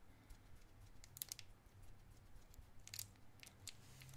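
A small clear cellophane wrapper around a round white mint-like candy is held in the fingertips and crinkled and twisted. Quiet, sharp, bright crackles snap in short bursts over a low, steady rumble.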